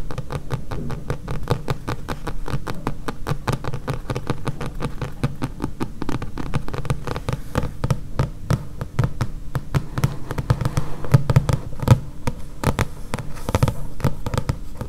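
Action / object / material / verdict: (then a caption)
tap / thick paperback book with paper cover / paper / none. Long painted fingernails of both hands tap rapidly on a thick Murakami paperback with a paper cover. The tapping is a steady, dense stream of dull, soft clicks with a low, thumping body and almost no ring, continuing evenly for about 15 seconds.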